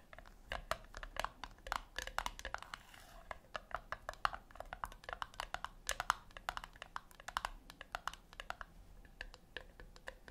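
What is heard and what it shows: Long acrylic nails tap rapidly on the flat top of a small, round, brushed-silver metal tin or puck resting on a white cloth. The result is a quick, uneven stream of dozens of sharp, dry clicks, with a bright tick centered around 1.3 kHz and no ring after each hit. The taps are soft and close over a quiet background.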